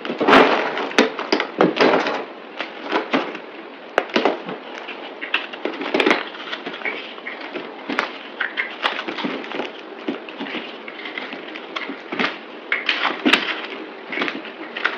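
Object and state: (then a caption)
Bar soap being cut. A utility knife shaves and cuts a solid green speckled bar of soap held in the palm, played at double speed. Brittle flakes crack off in a rapid series of crisp, dry snaps and scraping crunches with short, bright clicks and almost no low end.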